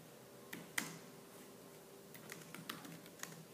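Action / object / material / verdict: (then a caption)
tap / plastic laptop keyboard keys / plastic / none. Fingertips with purple nails type fast on a laptop keyboard with black plastic keys, producing eight short, bright clicky taps over a faint steady hum. Each tap is sharp and dies away almost instantly, the second one the loudest.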